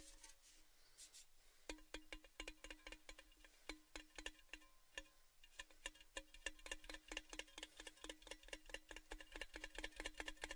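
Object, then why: Tall metal gift tin. Fingertips tap the outside of a tall, hollow orange Baileys gift tin held upside down in front of the microphones. After a quiet start, quick, uneven taps give short, bright metallic clicks with a faint hollow tone. The taps grow denser and slightly louder toward the end.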